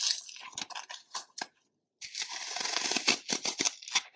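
A dry, solid, porous block of green phenolic floral foam is held in one hand over a plastic bowl of foam crumbs while fingertips and nails dig into its edge, scratching and crushing off crumbly chunks. Bright, dry crunches and scraping crackles come in short irregular bursts, stop for a brief silence, then return as denser, continuous crumbling with sharper crunches standing out.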